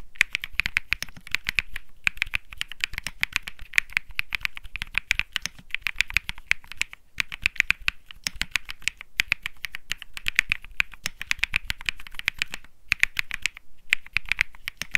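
Fingertips type steadily on the plastic keycaps of a white Think 6.5 mechanical keyboard with Bsun Lollipop switches. A rapid, continuous stream of short, dry clacks is heard, each dying away almost instantly, with a bright tone centered around 2.4 kHz over a light low thud, broken by a few brief pauses.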